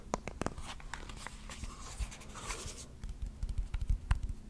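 Fingertips and nails tap and scratch the sides of a small, rectangular, likely hollow wooden box with visible grain, held in the hands. Soft, dull taps with short, bright nail clicks come over a steady scratchy rustle in the middle. Quicker, uneven taps with almost no ring follow toward the end.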